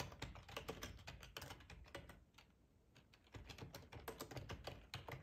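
Fingertips of both hands type on a full-size black plastic ergonomic split keyboard resting on a cloth tablecloth. Quick, uneven clusters of short, dull key clicks and taps are heard, with a softer lull partway through before the typing picks up again.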